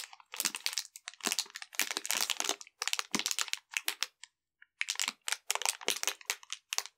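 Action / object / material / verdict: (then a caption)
scrape / plastic zip bag holding a folded metal pocket stove / plastic / none. A small clear plastic zip bag holding a folded metal pocket stove, fuel tablets and a printed paper label is crinkled between the fingertips of both hands. Dense, bright, crackly bursts of crinkling come in quick irregular clusters with a short silent gap near the middle.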